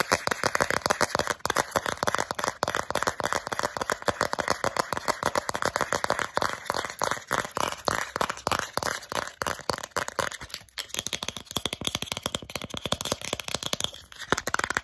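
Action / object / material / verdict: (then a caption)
tap / thin plastic card tapped with fingernails / plastic / none. Long acrylic nails rapidly tap, scratch and flex a small, thin, solid flat plastic Starbucks gift card held close to the camera. The result is a dense, fast stream of short, dry clicks and scratchy ticks with almost no ring, mostly mid and bright in tone with little low end. A faint high steady tone runs underneath throughout.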